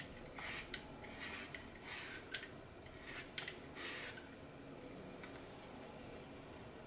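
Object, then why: Glitter-coated floral foam block. A red-handled cutter repeatedly shaves and crumbles the edge of a solid green floral foam block with a glitter surface, held over a glass bowl. Quiet, bright, raspy scraping bursts come and go, broken by a few sharp crisp crackles as the foam gives way.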